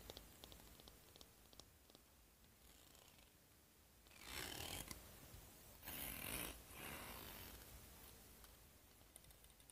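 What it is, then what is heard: Plastic hair comb. Long fingernails scratch and strum across the teeth of a wide-tooth, hand-sized solid plastic comb held in front of the hair in the other hand. Soft, rapid clicking scratches give way to louder, bright, hissy raking bursts around the middle of the clip, then ease back to quieter ticking.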